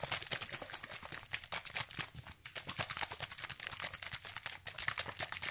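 A medium orange plastic spray bottle, hollow with liquid inside, is shaken quickly by hand near the microphone while fingernails tap against the bottle. The result is a dense, rapid stream of bright clicks and sloshing swishes that continues steadily for the whole clip, with little low end.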